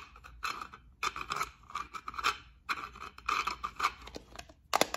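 Long acrylic nails scratch and tap a small rectangular clear plastic case with gold beads inside, held in the fingers. Dry, bright scratching and crisp clicking come in quick bursts separated by short pauses, with a sharper, louder tap near the end.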